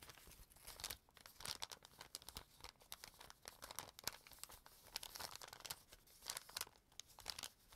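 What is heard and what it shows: A flattened, empty brown kraft paper bag with a dark stripe is held and folded by fingertips with pink-painted nails. Dense, bright crinkling and rubbing comes in quick overlapping bursts across the clip, with little low end.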